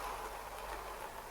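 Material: Nothing is struck.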